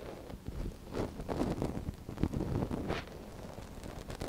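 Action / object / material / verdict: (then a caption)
scrape / silicone ear of a binaural microphone scratched with a wooden stick / silicone / none. A gloved hand steadies the soft silicone ear of a binaural microphone while a thin wooden stick scratches inside its canal. The result is close, low, muffled scraping and rustling in a string of soft, short strokes with little brightness.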